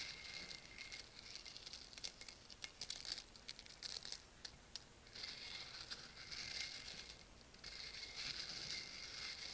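Fingertips drop and stir whole roasted coffee beans in a porous volcanic stone mortar, so the beans clatter against each other and the stone. Quick, dry, bright clicks come in scattered bursts, densest in the first half, then give way to a softer, steady rustling hiss as the beans are stirred.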